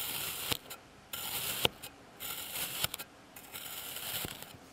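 A clear plastic blade slices and scrapes through a flat, solid slab of blue kinetic sand pressed with a patterned texture on a white surface. Four bright, gritty scraping passes are heard, separated by short quiet gaps and punctuated by sharp, dry clicks.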